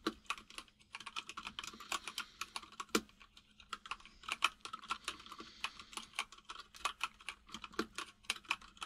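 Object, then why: Plastic mechanical keyboard. Fingertips of both hands type steadily on a full-size mechanical keyboard with white and grey plastic keycaps and a hollow case. The result is a quick run of repeated key taps: sharp, bright clicks centered around 1.3 kHz with almost no low end and very short decay, over a faint steady hum near 200 Hz.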